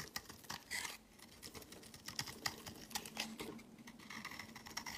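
A metal utility-knife blade shaves crumbly flakes off the edge of a solid, palm-sized white bar of soap held in the hand. The result is a quiet run of quick, bright, crisp scrapes and crackly ticks at an uneven pace, each dying away almost instantly, with a faint low hum underneath.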